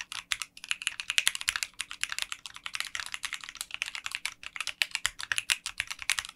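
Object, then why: Mechanical keyboard with polycarbonate keycaps. Fingertips type continuously on a mechanical 60% keyboard with translucent pink polycarbonate keycaps in a clear case. A rapid, steady stream of short, bright, crisp clacks centers around 2.8 kHz, with almost no low end, and each keystroke ends almost instantly.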